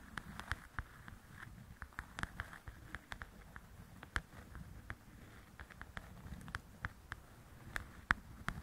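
Long acrylic nails tap quickly on the glossy cover of a softcover paper coloring book lying flat. The taps are short, dry clicks with a slight mid-pitched ring, irregularly spaced over a low background rumble. Some taps land harder than others.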